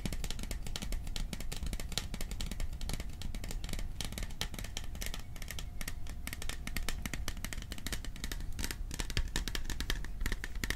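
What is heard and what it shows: Fingertips tap rapidly on the sides of a hollow, cylindrical printed metal popcorn tin held in both hands close to the microphone. The result is a dense, steady stream of quick taps with a low, hollow body and bright, clicky tops. Each tap dies away almost instantly.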